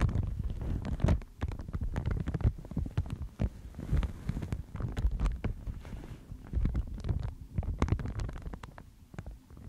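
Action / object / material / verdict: scrape / thin mulberry paper sheet / mulberry paper / none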